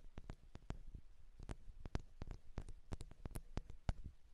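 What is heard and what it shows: Long, dark-painted nails from both hands tap and scratch the two small, hollow metal X/Y microphone capsules of a Zoom H6 handheld recorder. The result is a quiet, rapid, uneven series of short, dull, low thumps, some with brief bright clicky edges. Each tap dies away almost instantly over a faint background hiss.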